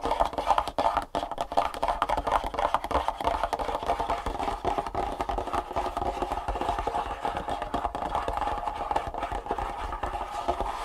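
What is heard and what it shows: Long fingernails on both hands tap fast and continuously on a long, printed, hollow cardboard Superfeet shoe insole box lying flat on a wooden table. The result is a dense, steady stream of short, dry clicks with a hollow mid-range tone around 890 Hz that stops almost instantly after each tap.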